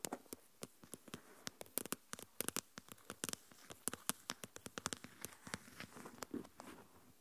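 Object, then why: Plastic container with lid, filled with coarse salt. Long nails tap the lid of a small translucent plastic deli tub full of coarse salt and scratch along the lid rim and sides. Dozens of quick, dry, bright clicks land in an irregular patter with almost no ring, and a soft scratchy rustle fills the gaps between taps.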